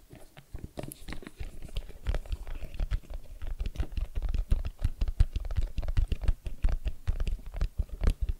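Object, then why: Small rigid cardboard box. A small, hollow, white rigid cardboard iPhone XS Max retail box, held in both hands with its long side facing forward, is tapped with the fingertips. The result is a steady run of rapid, soft, dull thuds with a low hollow body and almost no high-frequency content, each tap dying away almost instantly.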